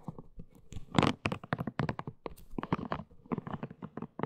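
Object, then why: Silicone scalp brush. Long nails scratch and tap a hollow pink silicone scalp brush, moving over its smooth shell and spiked base. The result is a quick, uneven run of dry, crunchy taps and scrapes with a low, hollow body and short, bright edges, each dying away almost at once.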